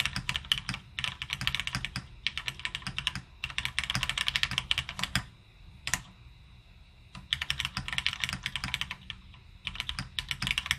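Both hands type continuously with their fingertips on a full-size beige retro plateless mechanical keyboard in the M0110 layout, with plastic keycaps and lubed linear switches, sitting on a desk mat. Rapid, bright, short key clacks come in dense bursts, with a quieter pause broken by a single sharp click midway before the typing resumes.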